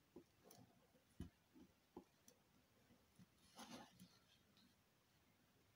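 A thin needle tool drags across a solid square bar of dark purple soap lying on a green table, held down by fingers with long green nails, scoring fine lines that peel off as thin curls. Quiet, soft scratching comes through as a series of short ticks and dull low taps, with a brief brighter rasp partway through.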